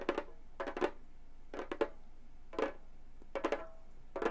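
Long gold metal claws tap the synthetic head of a hollow frame drum with both hands. Quick clusters of light, clicky taps give short, dry knocks that die out almost at once, centered near 340 Hz with a faint brighter tick on top. Brief quiet gaps separate the bursts.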